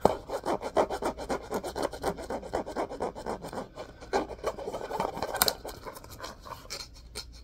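Fingernails scratch and rub along the orange spine and cream cloth-covered board cover of a solid, medium-sized hardcover book. They make quick, soft, raspy strokes at about four per second in an uneven rhythm. Each stroke is a dry midrange scrape with brief bright edges and no ring, fading to quieter, sparser rubs near the end.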